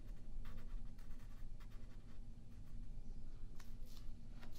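A yellow pencil shades and draws on a thin white printer paper sheet lying flat on a wooden table, while the other hand holds the sheet still. Soft, steady scratching strokes come in short bright bursts over a constant low rumble, and the whole clip stays quiet.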